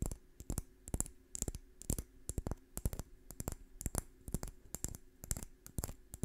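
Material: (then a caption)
Wood. Long fingernails scratch a small, dry brown pine cone with woody scales close to the microphone. The result is a rapid, irregular string of short, dry clicks and scrapes, each with a soft low thump and a bright, crisp crackle on top, over quiet background hiss.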